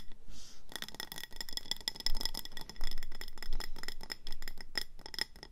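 Long painted nails tap and scratch fast around the body and orange glazed rim of a medium round, speckled grey ceramic planter filled with pebbles and a succulent. After a brief quiet hiss, a dense, irregular stream of sharp clicks and scrapes begins. Short, bright ceramic pings ring through the stream.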